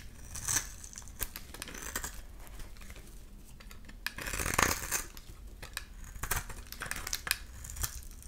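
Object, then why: Glycerin soap bar. A solid clear glycerin soap bar with a grid-scored face, held in the palm, is shaved with a utility-knife blade. Many short, crisp scraping and crackling cuts are heard, with a louder, longer shave near the middle, as white flakes come off.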